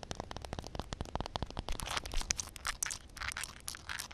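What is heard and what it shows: Nail tips tap and scratch on a solid concrete slab covered with a film of water. A quick run of sharp, short clicks gives way to bright, crinkly scraping bursts over a faint low rumble, and each sound stops almost instantly with no ring.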